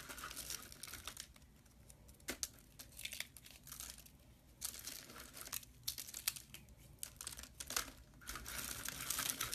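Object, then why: Dry soap shavings. A pile of thin, hollow, white dry soap shavings curled into rolls on a metal tray is crushed and crumbled between the fingertips of a bare hand. Dense, bright crackling and crinkling comes in bursts separated by quieter pauses, with the crunching growing fuller toward the end.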